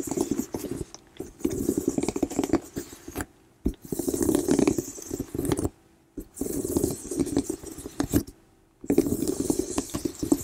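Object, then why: Woven leather handbag. Long nails scratch and trace across a medium plum woven (intrecciato) leather hobo bag, soft and hollow. The result is bursts of dry, crackly scraping with a low hollow rustle, broken by short silent pauses.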